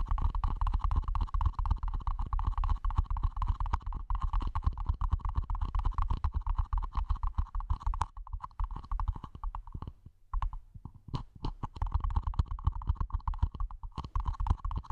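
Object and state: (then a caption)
Small plastic planter pot tapped over the mic. Long manicured fingernails and fingertips tap steadily on the top and sides of a small, hollow, empty, matte black plastic mini planter pot sitting over the mic. The rapid, dense taps land as deep, muffled thumps with short clicky edges over a constant midrange hum. The tapping thins out briefly around the ten-second mark, then picks back up.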